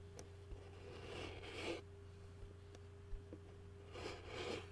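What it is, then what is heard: Plastic takeout bowl. A fingertip taps and scratches the bottom of a white plastic takeout bowl. A few light, dry taps fall between two longer bursts of bright, hissy scratching. A steady low hum and a faint mid tone run underneath, and the whole clip stays quiet.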